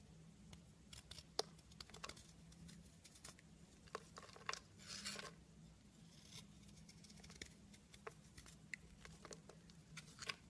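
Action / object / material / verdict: scrape / carved soap bar / soap / none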